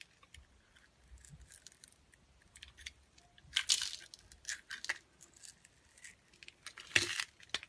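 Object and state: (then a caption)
Glycerin soap bar being scraped. A translucent yellow clear glycerin soap bar, held in the hand, is scraped and sliced with a metal blade, leaving powdery shavings on its surface. Quiet, bright, crisp scraping and cutting strokes come in irregular bursts with very little low end. The loudest, longest strokes land just before four seconds and around seven seconds.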